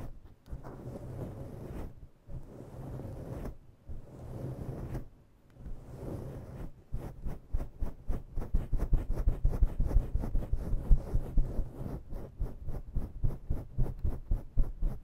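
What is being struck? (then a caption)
Faux fur microphone windscreen. Long natural nails dig into and scratch a grey and black faux-fur microphone windscreen, gripping it from both sides. A dense, low, muffled rustling and scraping comes first, then it breaks into quick, uneven bursts of scratching that repeat rapidly.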